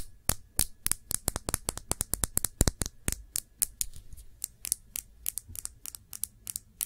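A small Sephora glass nail polish bottle with a black cap, filled with dark polish, is held upright and tapped with long nails. About 36 quick, sharp clicks ring out in an uneven rhythm, each bright with a soft low thump beneath and dying away almost instantly.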